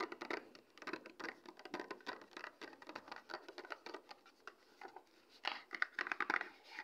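Long red acrylic nails tap and scratch a small, flat, printed cardboard product box (Eshabeauty Base Kit), hollow with its contents not visible. The result is a quiet, continuous run of quick, dry clicks and papery scratches with no low end and a bright, crinkly edge, each tap dying out almost instantly.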